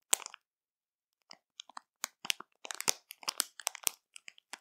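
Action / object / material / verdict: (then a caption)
scrape / plastic film bag of marshmallows / plastic film / none. Long matte nails on both hands tap, press and scratch the film of a full, printed plastic marshmallow bag. The result is short, bright, dry crinkles and crackles with almost no low end, coming in irregular clusters after a brief opening burst and a quiet pause.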